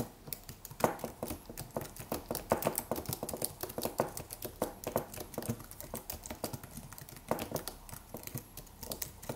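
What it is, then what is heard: Aluminium and plastic wireless keyboard being typed on. Fingertips of both hands type rapid taps on a slim white Apple-style wireless keyboard with an aluminium body and white plastic keys. A steady stream of quick, soft clicks with short, dry decay continues throughout, with occasional louder keystrokes standing out.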